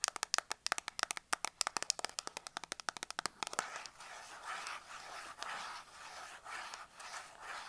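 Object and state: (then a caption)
Cardboard soap box. Long black acrylic nails tap and scratch the sides of a small closed, printed 100 g Dettol cardboard soap box held in the hands, with a soap bar inside. Roughly the first three and a half seconds are a quick run of crisp, dry, distinctly separated taps with a bright, high click. These give way to a steady, rough, papery scratching in rising and falling swells.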